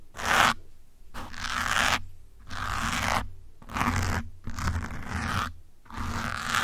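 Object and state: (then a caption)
Foam microphone windscreen scratched with pins. Metal pins held in the fingers scratch the top and side of a grey foam windscreen on a black microphone. Six bursts of close, gritty scraping and crunching are heard, separated by short pauses. Each burst has a bright, noisy hiss centred around 1.3 kHz over a low rumbling body.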